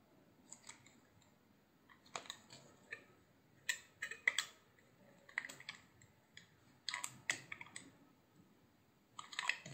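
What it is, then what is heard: Soap bar being carved. A hand-sized, solid cream-white soap bar held in the hand has slabs carved and shaved off with a utility knife blade. Quiet, crisp, bright scraping and clicking bursts come in scattered clusters, each cut sharp and short with almost no ring or low end.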